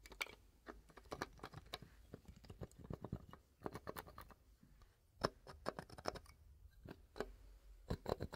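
A small rainbow toy xylophone with painted rigid metal bars on a wooden frame is picked up and handled, with fingertips tapping and touching the bars while the mallet lies set aside on the table. Many quiet, dry, short taps and soft scratching sounds come in irregular clusters, with little ringing and a faint pitched tone around 400 Hz.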